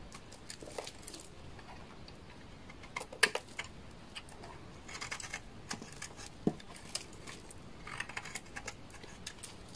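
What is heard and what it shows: A utility knife blade scrapes the face and edge of a solid, dry orange laundry soap bar held in the hand. Short, dry, crisp scraping ticks with bright, high edges come in an irregular run, with a few sharper snaps standing out, at a quiet level. Each scrape stops almost at once, with no ring.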